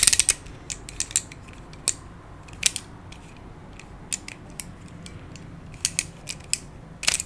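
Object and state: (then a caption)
Plastic Pyraminx puzzle being twisted. A hand-sized black plastic Pyraminx, a pyramid twisty puzzle with coloured stickers and a hollow mechanism, is twisted layer by layer with the fingertips. It gives a run of sharp, bright plastic clicks and faint creaks, bunched at the start and scattered through the rest, each dying almost at once over a low, quiet background hiss.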